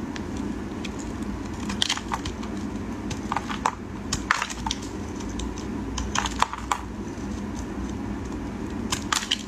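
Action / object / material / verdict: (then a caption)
scrape / bar soap shaved with a blade / soap / none. A solid, dry green bar of soap is shaved into thin strips with a utility knife blade. Short, crisp scraping and cracking strokes with bright crunchy edges come in irregular bursts over a steady low hum.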